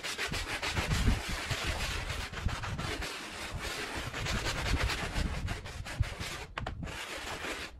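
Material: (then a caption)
Woven fabric. A handheld bristle brush scrubs a small, dirty woven fabric rug covered in soapy foam, making steady, rough rubbing strokes. The scrubbing has a bright, hissy texture over low, muffled thumps, with a brief pause near the end.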